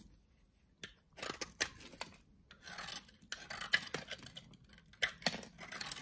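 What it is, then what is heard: Soap bar being shaved. A utility knife scores and shaves the surface of a solid, translucent beige soap bar held in hand. After a near-silent start, a series of dry, bright scraping and rasping strokes follows, with crisp clicks as the blade catches and cuts, leaving little low end and almost no ring.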